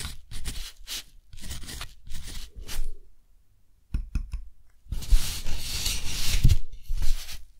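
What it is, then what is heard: Textured cotton paper being written on with a nib. A metal dip-pen nib scratches across a thick, flat, textured cotton paper sheet while writing a line of text, with the left hand steadying the paper. Short dry scratchy strokes come in bursts, then a near-silent pause, a few quick ticks, and a longer continuous rasping scrawl to the end.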